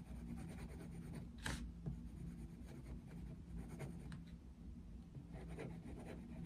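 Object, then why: Paper colouring book and wooden coloured pencil. A dark wooden coloured pencil held in the fingers is drawn across an open paper colouring book lying flat on a desk, making quiet scratching and rubbing strokes. Soft, papery strokes come and go over a steady low hum, with a few brief, brighter scratches standing out.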